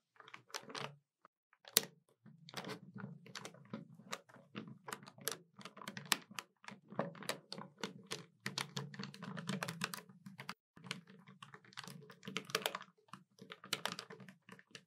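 Fingertips and long nails tap the plastic keys of a hollow black plastic desktop calculator in quick, uneven runs. The clicks are short, dry and bright, over a steady low hum, with a couple of brief pauses between bursts.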